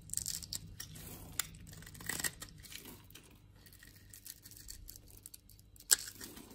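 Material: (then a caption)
Soap. A utility knife blade scrapes thin shavings from a solid pink bar of soap held in the palm, carving a ridged texture into it. The sound is soft, bright and crisp, with dry tearing scrapes, crumbly crinkling and a few sharper cuts that stand out above the quiet background.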